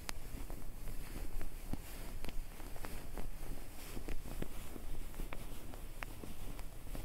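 Both hands grab and crumple a white, puffy, soft filled fabric comforter (duvet) right next to the recorder. The result is a continuous, low, muffled rustle and rumble scattered with faint, brief crinkling ticks.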